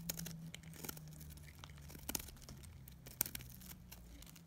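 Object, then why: Bar of dried soap. A metal utility blade scrapes and cuts flakes from a pink and blue solid bar of dried soap. Dry, bright crinkling and crackling runs throughout over a steady low hum, with a few sharper snaps standing out near the middle and toward the end.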